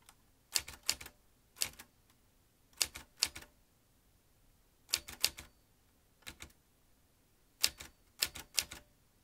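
A metal manual typewriter with a ribbon spool and paper is typed on by fingertips pressing the keys. Bursts of sharp, bright, quickly decaying key strikes come in short clusters separated by quiet pauses.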